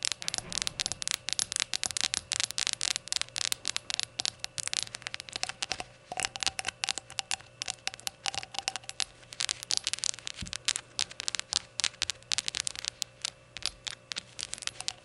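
Long gold-polished nails tap and scratch along the sides of a small, empty, hollow glazed ceramic novelty shot glass with a rainbow gradient and a white unglazed base, lying on a towel. The result is a dense, continuous stream of sharp, bright clicks and scratchy ticks with almost no ring, over a faint steady low hum.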